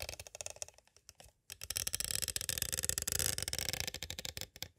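Two green plastic stick tools tap slowly and lightly scrape along the edges of a small, hollow, clear plastic cassette tape case. The result is a run of bright, dry plastic clicks and soft scratchy scraping with almost no ring. A brief pause around the middle is followed by denser, louder tapping.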